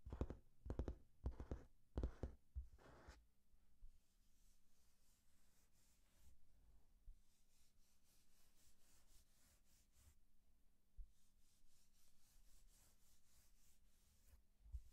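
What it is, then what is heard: Glossy magazine pages scratched and rubbed. Fingertips and short painted nails rub and scratch across the open glossy printed pages of a magazine or booklet. A quick run of sharp, louder scratches in the first few seconds gives way to quiet, steady rubbing and faint rustling, with a low, steady hum underneath.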